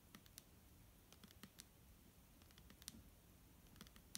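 Long nails tap a clear, hollow plastic micellar water bottle that holds liquid and is held in the hand. Quiet, irregular, sharp clicking taps sound over a faint low background, each tap a bright tick with a brief hollow knock near 215 Hz that dies away almost at once.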